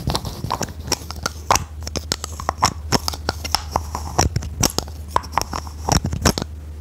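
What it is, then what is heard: Plastic toy tapped with fingernails. Long red nails tap and scratch a hand-sized, hollow orange plastic toy with a decorative flower, held in both hands. The result is a rapid, irregular run of short, crisp clicks with bright, scratchy edges, over a steady low hum.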